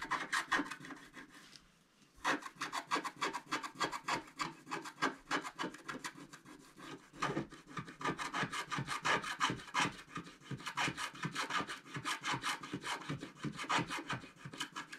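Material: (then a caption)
Coated paper. A wooden stylus scratches the black coating off the top part of a flat scratch-art paper card. Quick, dry, raspy strokes repeat at an uneven pace, with a brief pause near the two-second mark before the scratching resumes steadily to the end.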